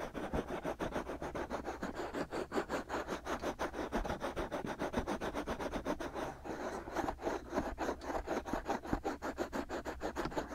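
Fingertips and short nails of both hands quickly scratch and rub the two white silicone ears of a binaural microphone. The result is a steady stream of fast, dry, raspy strokes, mostly midrange with little high end. The level stays fairly even for the whole clip.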